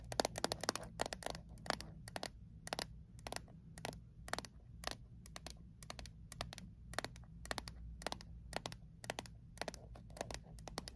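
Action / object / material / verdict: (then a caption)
tap / small metal mint tin / metal / none. Long acrylic nails quickly tap and scratch a small, closed, hollow metal Altoids mint tin held upright in both hands. Rapid bursts of short, sharp, bright clicks with a hollow tinny ring arrive in uneven clusters over a steady low hum.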